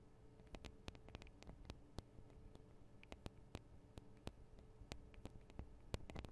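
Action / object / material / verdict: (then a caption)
tap / small metal microphone capsules on a handheld recorder / metal / none. Long acrylic nails of both hands tap the small hollow metal microphone capsules on a Tascam DR-40 recorder, making sharp, bright clicks that fall in an irregular patter. Each tap dies away almost instantly over a quiet bed of low hum and faint hiss.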